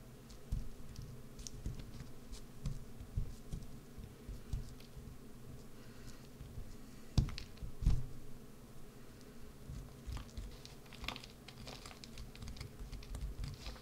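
A solid green bar of soap held in the hand is scratched and carved with a wood-handled gouge. Quiet, dry scraping strokes and soft low thumps run throughout, with short, bright flicks, and the two loudest cuts land near the seven- and eight-second marks.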